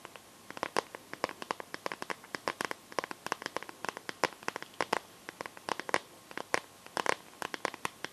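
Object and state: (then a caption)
Plastic phone case, tapped and scratched with nails. Long nails tap and scratch across the back and edges of a smartphone in a clear plastic case filled with liquid glitter. About fifty quick, sharp plastic clicks land in irregular bursts, each dying away almost instantly. The sound is quiet, crisp and bright, with faint scraping between taps and almost no low end.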